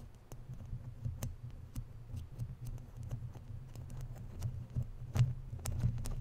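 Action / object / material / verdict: scrape / woven metal mesh microphone grille / metal mesh / none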